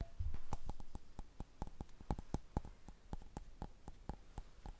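A round, hollow, mosaic-patterned glass candle holder with a small candle inside is held in one hand and tapped with the fingertips and nails of the other. About twenty quick, uneven taps follow, each a crisp click with a bright glassy tick and a very short ring that dies away almost at once.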